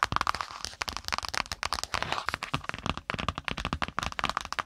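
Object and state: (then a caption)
Spiral notebook cardboard cover. Long pointed nails of both hands tap rapidly on the brown kraft cardboard cover of a spiral notebook resting on the microphone. The result is a dense, uneven stream of sharp, dry clicks with almost no ring, centered around 1.2 kHz with bright upper edges.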